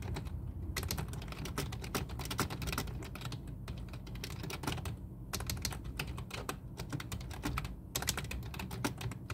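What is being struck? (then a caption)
Plastic computer keyboard. Both hands type fast with the fingertips on a full-size black plastic computer keyboard resting on a desk. The result is a dense, steady run of short, bright clicks with brief pauses, over a constant low hum.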